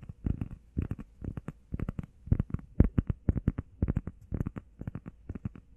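Long painted nails and fingertips rapidly tap and scratch a flat, solid, grey textured EVA foam workout pad shaped like a heart and about the size of a hand. The result is quick clusters of soft, dull, low thuds with almost no brightness, each dying away almost instantly.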